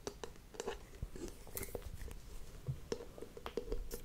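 Long painted nails tap and scratch the solid oval wooden lid of a WoodWick candle, held close to the mic. The result is a quick string of dry, short knocks, each carrying a hollow woody tone around 450 Hz, mixed with soft scratching. At the end the lid rests on the glass jar.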